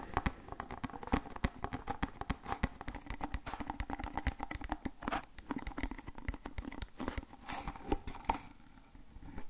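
A small, hollow, printed cardboard Voltadol medicine box is held in the hands and tapped and scratched with fingernails. The result is a dense run of quick, dry taps and crinkly scratches with a faint low hum beneath.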